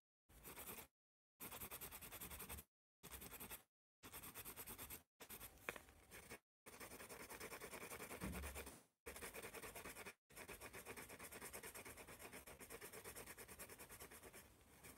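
A wooden pencil writes on a hand-held spiral notepad of thin white paper, making dense, dry scratching strokes across the page. The scratching comes in eight bursts separated by short silences, with one sharp tick near the middle, and the final stretch of writing runs continuously to the end.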